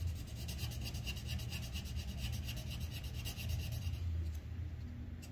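A red wooden colored pencil held in the fingers scratches quick shading strokes along the pot rim on a thin white paper coloring sheet resting on a clipboard. A steady run of short, rhythmic, dry scratches rasps over a low, muffled rumble, with a bright hiss on each stroke.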